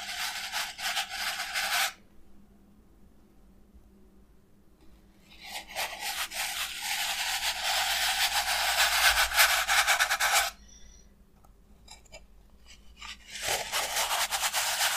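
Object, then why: Expanded polystyrene foam block. A small white block of what appears to be expanded polystyrene foam, with an embossed mark, is held in both hands while the palms and fingertips rub and squeeze it. Bright, scratchy squeaking comes in three bursts: a short one, a longer sustained stretch, and another at the end, separated by near-silent pauses.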